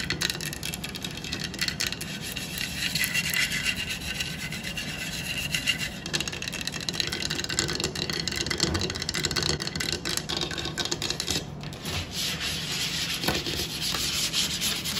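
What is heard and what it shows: Long black acrylic nails scratch and rub the base and sides of a medium light-wood salad bowl, hollow and empty, turned upside down on a wooden table. A steady, bright, raspy scraping runs throughout, with a dense stream of small ticks and no pauses.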